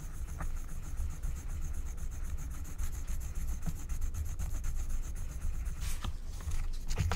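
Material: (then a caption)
Waxed paper. A wooden stylus rubs and scrapes the coating away over an area of a flat, thin, black wax-coated paper scratch-art card. The result is a steady, low, dull rubbing texture with brief brighter scratches near the end.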